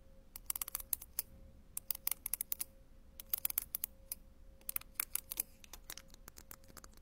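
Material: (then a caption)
Ceramic. A metal tool with a green handle taps and scratches individual small round ceramic penny tiles on a sheet with a white backing. Many sharp, bright clicks come in quick irregular bursts over a faint steady hum. Each tap dies away at once.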